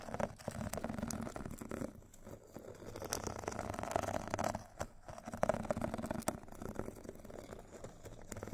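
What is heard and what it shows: Two thin metal sticks scratch and tap across the purple abrasive grit side of a rectangular foot file with a foam core. The result is a steady, dry rasping texture with soft, quick taps, sitting mostly in the low and middle range with little brightness and a faint tonal ring near 630 Hz. The scraping pauses briefly twice before resuming.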